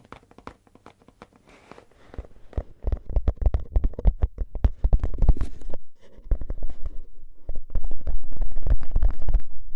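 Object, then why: Cardboard crisp can with metal rim. Fingernails of both hands scratch and tap the top edge of a tall, hollow cardboard crisp can with a metal rim. Quick, uneven taps and scratches start faint and grow louder and denser, with deep hollow thumps under a dry scratchy texture. There is a brief lull around the six-second mark before the tapping builds to its loudest at the end.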